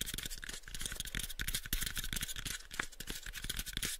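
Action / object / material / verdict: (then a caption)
scrape / light wooden box / wood / none. Fingertips and nails scratch and tap the surface of a light, pale wooden box held close to the microphones. The result is a rapid, irregular stream of dry, short taps with low thuds underneath and a bright, hissy scratching texture over the top.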